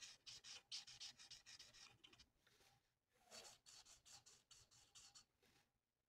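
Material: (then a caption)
Paper. The felt nib of a plastic alcohol marker colours a thin, flat sheet of printed paper lying on a table with rapid back-and-forth strokes. Each stroke is a soft, bright, high-pitched scratchy rub, and the strokes run in quick, uneven bursts. There is a short lull around the middle before the rubbing resumes and fades out.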